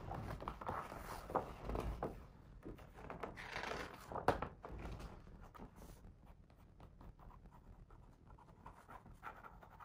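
A fingertip traces and taps the printed words on the paper pages of a large open hardcover picture book, staying on the same spread throughout. Soft, dry scratching alternates with light, muffled taps, with a slightly louder cluster near the middle before the sound settles quieter toward the end.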